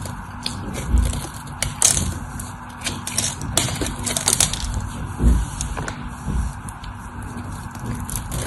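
A utility knife blade scrapes and carves the edge of a solid white, rectangular bar of dry soap with a stamped logo, held in one hand with long orange nails. The audio is a steady dry, crunchy scraping with bright crackles and a few heavier low thuds as flakes of soap fall off.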